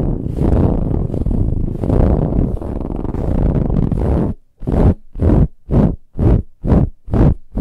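Long nails scratch a soft, ribbed brown fabric pillow, giving a dense, muffled, low-heavy rasping that runs steadily for about four seconds. After a brief pause, it breaks into six separate, rhythmic scratch strokes.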